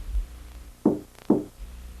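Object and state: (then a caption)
Hollow interior door. Two knocks on a hollow-core interior door, such as one leading in from a garage or basement, produce short, hollow-sounding thuds centered around 300 Hz that die away quickly. The hollow sound marks the door as flimsy, and it should be exchanged for a solid one.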